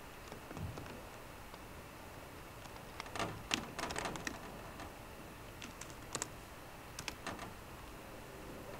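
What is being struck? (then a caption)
Aluminium laptop keyboard with plastic keys. Fingertips with short green nails tap sparsely on the low-profile plastic keys of a 13-inch aluminum MacBook Pro keyboard. Around fourteen short, soft clicks come at an uneven pace, some in quick pairs, each dying away almost instantly with a faint bright edge. A low, steady hiss sits underneath.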